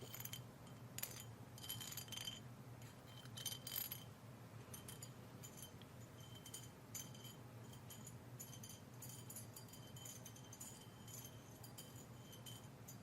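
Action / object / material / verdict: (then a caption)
tap / clay foot scrubber tapped with a metal hair pin / fired clay / none. A hair pin is tapped and scraped against a small clay foot scrubber meant for removing dry skin and calluses. It makes a rapid stream of light, bright clinking and jangling taps that ring high and die away quickly, over a low steady background hum.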